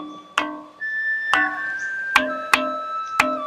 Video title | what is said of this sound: SEJARAH ASAL USUL MISTERI BATU TULIS SANGHIANG DAN PERISTIWANYA #Part1 | Ada bunyinya di sini ada nadanya.